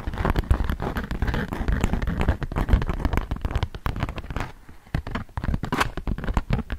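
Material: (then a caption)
Waxed cotton. A flat, thin polka-dot beeswax-coated cotton food wrap sheet is held taut while fingertips and long nails tap and scratch across it. Dense, rapid crackling taps and scratchy rustles come through with a heavy low thump to each hit. The activity thins briefly near the middle and picks back up with sharper, brighter scratches.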